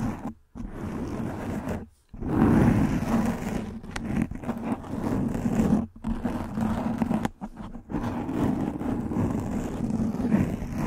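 Long nails scratch and rub a soft black foam windscreen covering a microphone head. The result is a close, dense scratching and rustling with a heavy, muffled low body, broken by a few brief silent pauses between strokes.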